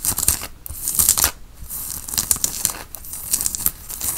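Fingertips and nails scratch a white printed cotton t-shirt being worn, and the hands pull and stretch the fabric at the collar. The result is a dry, bright, hissy run of scratches and rasps, with a few brief tearing-like bursts that rise and fall in loudness.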